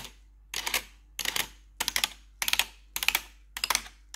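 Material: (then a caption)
Plastic. Gloved fingers fitted with metal claw nails tap and scratch across the keys of a black plastic RGB backlit computer keyboard. Bright, clicky bursts of rapid taps come in short clusters roughly every half second, each cluster dying away quickly into near silence.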